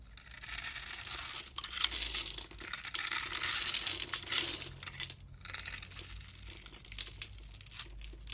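A palm-sized, solid blue and white striped bar of soap, held in the hand, is scored and scraped with a metal utility knife blade. The result is a dense, bright, crackly scraping and crunching with a brief pause around the five-second mark. Small soap cubes break off.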